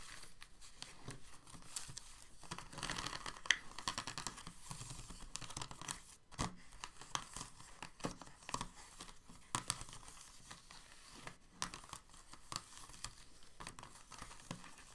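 Fingertips and nails scratch and tap along the hollow ridges of an empty, clear, thin, moulded plastic blister insert tray. The result is a quiet, continuous stream of dry crinkling scrapes punctuated by sharp, bright plastic clicks that die away almost instantly, with a papery, tearing-like texture.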